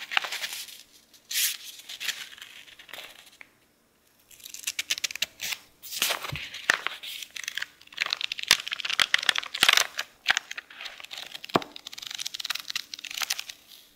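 Fingertips riffle and flick the stacked edges of thin pages in an open paperback book. The result is bright, crisp papery rustling and rapid ticking flicks in irregular bursts, with a brief near-silent pause early on and no low-end body.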